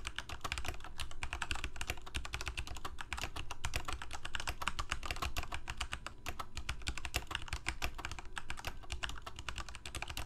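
Fingertips of both hands type rapidly on a full-size black plastic Corsair mechanical keyboard with lit keycaps. A steady, dense stream of short, sharp clacks runs for about ten seconds, each press a bright click over a low thud that stops almost instantly.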